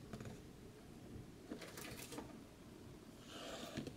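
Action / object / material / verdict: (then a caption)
tap / cardboard box / cardboard / none. Fingertips and short nails tap and scratch the lid and sides of a large matte dark cardboard collector's box with a worn printed Fallout logo, held in the hands. Soft, dull taps mix with brief, bright scratchy rustles, and a hissing scrape builds near the end. The sound stays quiet and close throughout.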